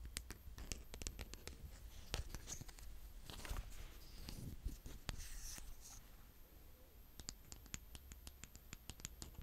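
A hand with painted nails scratches and digs through brown kinetic sand with a green plastic rake, then with the rake's flat scoop end. Quiet, crisp scraping and grainy rustling are punctuated by many short, sharp ticks with bright edges over a low, steady rumble.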